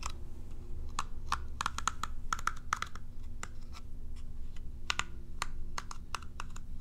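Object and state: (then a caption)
Plastic cat self-groomer brush. Long nails scratch and strum the bristles of a curved plastic cat self-groomer brush with a hollow shell. The result is a rapid run of short, bright plucking clicks, many with a brief tonal ping around 1.3 kHz, over a steady low hum.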